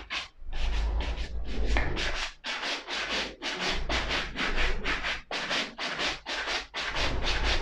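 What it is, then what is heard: Suede ankle boot being brushed. A small wooden-handled brush is rubbed along the side of a hollow, empty black suede leather ankle boot in quick back-and-forth strokes. About 13 separate scratchy, bright swishes are heard over a steady low rumble.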